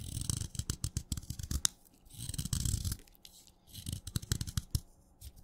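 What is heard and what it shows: A craft knife blade scrapes along the side of a solid wet red chalk stick, shaving off flakes. The sound comes in three bursts of dry, crackly scraping, each a quick run of sharp, short ticks with a bright hiss over a soft low rumble.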